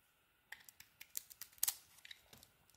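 A metal blade scrapes a solid, green-coated orange bar of soap held in the hand, shaving off crumbly pieces. The result is a quiet series of short, crisp, bright scraping and crackling bursts that stop quickly, with the loudest cluster near the middle.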